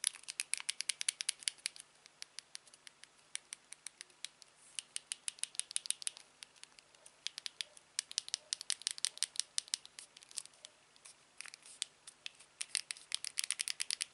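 A thumb rapidly taps and clicks the black wheel and buttons of a small aluminium TV remote held in one hand. Dozens of sharp, bright, very short clicks come in quick, irregular bursts with brief pauses. The sound is quiet and high-pitched, with almost no low end.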